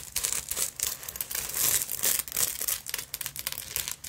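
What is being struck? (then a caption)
Beaded fabric purse. Long nails scratch and tap the beads of a black beaded sequin fabric purse with a metal clasp frame, held in the hands. The result is a dense, bright, crinkly rasping with quick clicking taps that swell and fade irregularly, almost entirely in the high range with very little low end.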